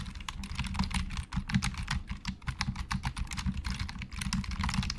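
Fast fingertip typing with both hands on a hollow black plastic Logitech computer keyboard. A dense stream of quick, dry key clicks, each with a bright snap and a low hollow thud beneath it, dies away almost instantly with no ring.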